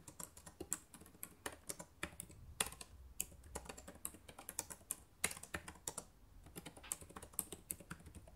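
Fingertips with long nails type on the plastic keys of a black laptop keyboard, producing a quick, uneven run of sharp, bright clicks and taps. Each keystroke dies away almost instantly over a faint, steady low hum.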